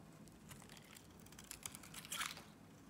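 A box-cutter blade carves curled shavings from a solid blue Nivea soap bar held in the hand. Soft, bright, crinkly scraping runs throughout, with a few sharper crisp cuts standing out toward the end.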